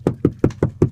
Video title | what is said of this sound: Deck inspection | tapping on it has a bit of a hollow sound might lead me to believe there's some internal Decay on that double uh 2x10